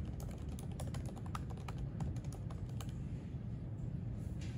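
Both hands type with fingertips on the plastic keys of a silver aluminium MacBook resting on a white library desk. Quick, light clicks run throughout, each with a short bright tick, over a steady low rumble that dominates the level.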